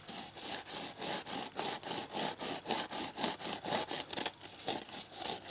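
Fingers and nails scratch and rub the green abrasive scouring side of a red foam kitchen dish sponge held in both hands. About 17 quick, evenly paced strokes make a bright, high, raspy scraping sound with almost no low end.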